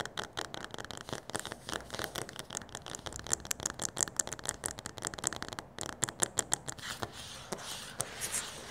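Fingertips and short nails tap rapidly and aggressively on a flat, solid laminate floor with a light wood-grain pattern. The result is a dense run of sharp, dry clicks with no ring, bright in the upper range and with a few louder, crisper taps standing out.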